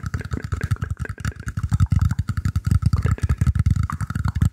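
Fingertips and nails scratch and tap the surface of a round, shallow, hollow woven bamboo tray held in front of the microphone. A fast, steady run of deep, booming thumps fills the clip, with a faint mid-range ring and scratchy texture riding over the hollow low resonance.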